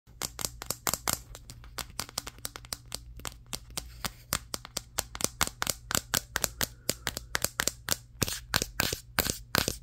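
A Samsung Galaxy S23 phone, a solid handheld device with a matte glass back and triple camera lenses, is tapped with fingertips and short nails on the back and camera area while it records in a mirror. About 48 quick, crisp, bright clicks ring off almost instantly. A faint low steady hum sits underneath.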